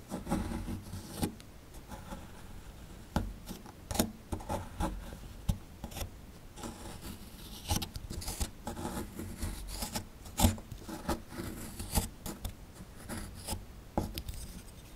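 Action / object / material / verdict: scrape / plaster excavation block scraped with a small chisel / plaster / none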